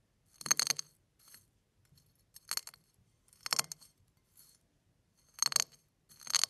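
Fingertips press, rub and crush a pile of crushed eggshell flakes, making bright, brittle crackling. Five loud crunching bursts come in quick succession, with softer rustles between them. The crackle is crisp and dry and stops almost instantly after each crush, with no ringing.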